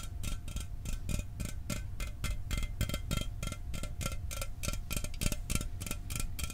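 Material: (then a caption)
Aluminum. A standard aluminum Mountain Dew soda can held in the hands is tapped with fingernails in a fast, steady rhythm. Each tap is a short, crisp, bright tick with a faint metallic ring, set over a low, constant rumble.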